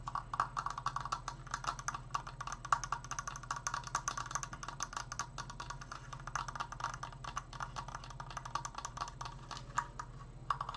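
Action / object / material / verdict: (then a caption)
tap / wooden slatted triangular frame / wood / none. A large, open triangular Triforce frame made of stained wooden slats, with hollow construction, is held close to the mic and fast-tapped with fingertips and nails on the slats. A rapid, continuous stream of dry, hollow wooden clicks with a woody knock around 1.1 kHz dies away almost instantly, over a steady low hum.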